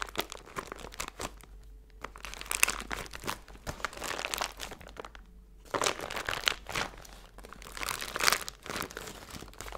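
A small clear plastic zip-top bag with a green seal, full of silver glitter or foil bits, is held in both hands and crinkled and squeezed with long blue nails and fingertips. Dense, bright crinkling and crunching comes in bursts, with two brief quiet pauses, over a faint steady low hum.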